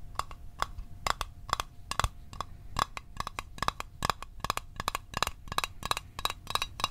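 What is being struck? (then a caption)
Small closed metal mint tin. Fingernails tap on a small, hollow, closed blue Altoids metal tin held in the hands. About 28 quick, uneven clicks each carry a bright metallic ping near 1.2 kHz and die away almost instantly.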